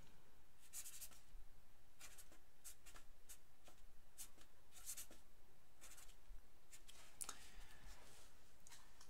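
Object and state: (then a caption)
Paper sheet being written on. A black felt-tip pen writes on a single thin white paper sheet lying flat on a wooden table while the other hand holds the sheet. Quiet, dry scratching strokes come in short bright bursts over a steady low hum.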